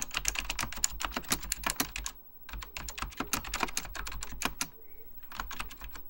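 Fingertips type continuously on a beige plastic full-size Apple Extended Keyboard II, pressing its hollow plastic keycaps over mechanical switches. The result is a rapid stream of sharp, bright clicks that die away almost instantly, over a low, steady hum. The typing breaks into bursts, with brief pauses near the middle and shortly before the end.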